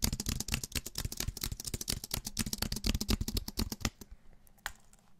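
A slim Apple-style wireless keyboard with an aluminum body and white plastic keys, solid and held upright close to the mic, is tapped fast by fingertips and nails on the keys and the underside. A dense, irregular stream of sharp, dry clicks with bright, crisp edges and a soft low thump runs for about four seconds. It then thins to a few isolated taps in near silence.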